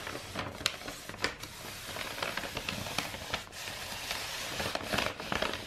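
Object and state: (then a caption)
Rolled kraft wrapping paper. A long roll of brown kraft wrapping paper with a silver star print, rolled into a hollow tube and held against the chest, is scratched and tapped along its length with long white-painted nails. Bright, crackly papery scratching runs throughout, broken by short, sharp taps that die away instantly with no ring.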